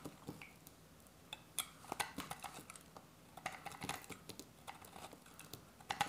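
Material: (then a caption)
Soap. A solid, dry beige soap bar held in the hand is shaved with a metal utility-knife blade. It produces a quiet, irregular series of short, crisp scraping cuts with bright, papery detail and almost no low end. Each cut stops dry, with no ring.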